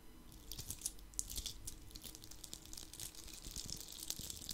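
A palm-sized red Christmas ornament ball covered in coarse glitter is held in the hand and scratched with fingertips and nails close to the microphone. Dense, crisp crackling and bright, gritty scratches with short sharp ticks run throughout, over a soft low rumble.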